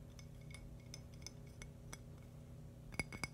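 A thin, polished, palm-sized purple agate slice with a rough crystal edge is tapped and scratched with fingernails. Light clicks and scratches give short glassy clinks with a bright ring near 2.2 kHz that dies away almost instantly, ending in two sharper, louder taps over a low steady hum.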